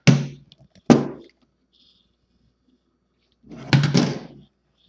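Someone taps the carrying case of a 1960 Olympia SM4 typewriter, whose vinyl was removed and edges repainted and which has some stains but is solid. Two short, dull, low thunks are heard, then after a pause a longer, denser burst of knocks. The case sounds solid, with little ring after each hit.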